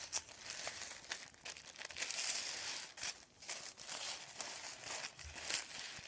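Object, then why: Thin paper sheet. Hands fold, lift and crinkle a thin sheet of printed white paper above a wooden table. The sound is a continuous bright, papery crinkling with sharp crackles and rustles, with almost no low end and short pauses between bursts.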